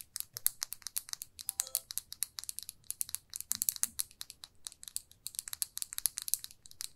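Long nails tap and scratch a small glossy red plastic lipstick tube, making a quick, uneven stream of dozens of dry, bright clicks and scrapes. The sound is quiet and crisp, with almost no low end and no ring after each hit.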